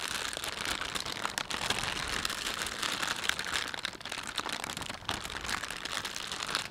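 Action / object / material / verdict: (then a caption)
scrape / thin plastic shopping bag / plastic film / none. A thin, empty panda-print plastic shopping bag is bunched, rubbed and crinkled between the fingertips of both hands. The result is a steady, dense, bright crinkling and crackling with almost no low end, running for the full length of the clip.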